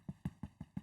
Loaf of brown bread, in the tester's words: how do you know it's done Hollow sound when you tap it